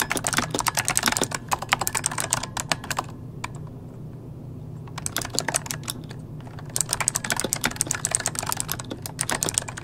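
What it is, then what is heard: Plastic mechanical keyboard. Both hands type rapidly with their fingertips on an RGB-lit plastic mechanical computer keyboard with hollow key switches, resting on a desk. Dense bursts of sharp, bright clicks and clacks stop briefly in the middle, leaving a low steady hum, then resume just as quickly.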